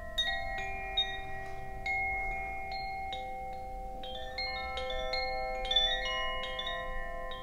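A bamboo Koshi wind chime, a hollow bamboo cylinder with a wooden sail and metal rods inside, hangs from raised fingers and is swung and shaken so its clapper strikes the rods. Bright, overlapping metallic tones ring out with long, shimmering sustains, stacking into a soft, continuous wash of chime notes over a faint low background hum.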